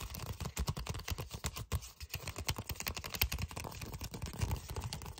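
Fingertips and short nails tap and scratch across a flat red paper envelope with a flap. A rapid, uneven run of short, dry taps with deep soft thuds is heard over a faint papery scratch, each tap dying away almost instantly.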